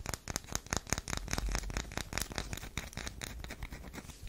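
A solid tan DURU bar soap is held in the hands while long nails scratch into its scored surface. Quick, dry scraping strokes repeat steadily with a bright, crinkly texture and a soft low rumble underneath, fading slightly toward the end.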